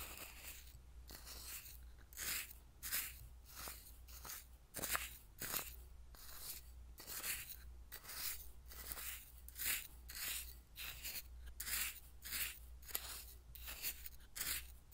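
A small wooden spoon stirs and scrapes through coarse salt in a hand-held clear glass bowl that is partly filled. It makes a steady run of bright, gritty crunching strokes at an uneven pace, over a constant low hum.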